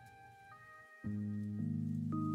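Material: Nothing is struck.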